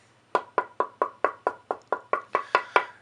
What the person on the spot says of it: you can hear the tap tone much brighter than basswood. It's got a good ring.